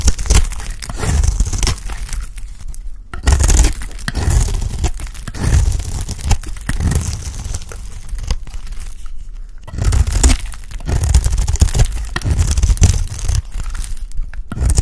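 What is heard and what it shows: A round, solid, dry cream soap bar held in the hand is shaved into curls with a utility blade. The blade gives a continuous dry scraping and crackling, with a steady low rumble under it and no ringing after each stroke.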